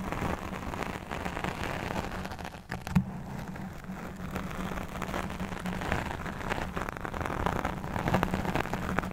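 Long nails of both hands scratch either side of a black fuzzy foam microphone windscreen, making a dense, continuous crackling rustle. The sound is heavy in the low end with a steady low hum underneath, and one sharper scrape stands out near the three-second mark.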